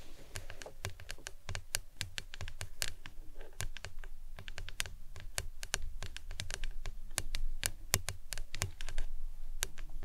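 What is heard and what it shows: Long nails tap rapidly on the sides of a hollow, printed hard plastic lemonade tumbler with a green lid, standing upright. Sharp, dry clicks follow one another in an uneven, quick rhythm, each dying away almost instantly, over a steady low background hum.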